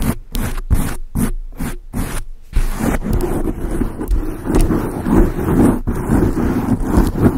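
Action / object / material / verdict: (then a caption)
scrape / foam microphone windscreen / foam / none. A large dark grey foam windscreen on a microphone is scratched and rubbed with long acrylic nails. It opens with short, separate scratching bursts, then turns into continuous rubbing. The sound is a dense, close, low-heavy rustle.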